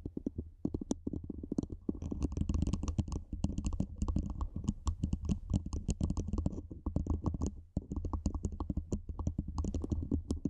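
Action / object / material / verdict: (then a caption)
tap / metal microphone body / metal / none. Long nails and fingertips tap and scratch a black cylindrical metal microphone body, moving higher up the body as they go. It makes a dense, fast stream of short, dry clicks and scratches over a deep, boomy low rumble, with faint bright ticks on top. There is a brief pause just before the eighth second.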